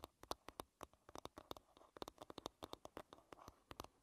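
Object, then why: Varnished wooden hairbrush back. Long red-painted nails tap and scratch the varnished surface of the small, solid, oval wooden back of a bristle hairbrush. About 25 quick, dry clicks land in an uneven rhythm, each with a woody knock around 1 kHz and a bright tick on top. Soft scratching fills the gaps between them.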